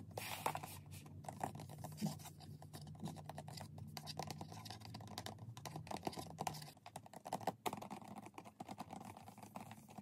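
Fingernails tap rapidly on UV nail lamps, producing a dense stream of fast, light clicky taps centered around 900 Hz, with occasional sharper, louder clicks. A low steady hum sits underneath for most of the clip, then fades near the end, leaving the taps more sparse and quieter.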